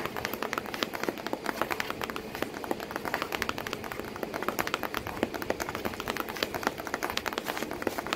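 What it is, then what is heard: Cardboard box. Long painted nails tap rapidly and continuously on the flap of a corrugated cardboard box with packing paper behind it, while a cat sits inside the box. Each tap is a short, dry, papery click with bright, crisp edges and almost no ring, layered over a soft rustling hollow body.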